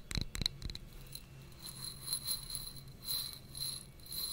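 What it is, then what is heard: Textured glass container tapped and scratched. Long nails and fingertips tap and scratch a small, clear, textured glass jar or tumbler held in the hands close to the microphone; the jar appears hollow and empty. A quick burst of sharp, bright clicks opens the clip, followed by softer, rasping scratches that swell and fade with a thin, high glassy ring over a faint low hum.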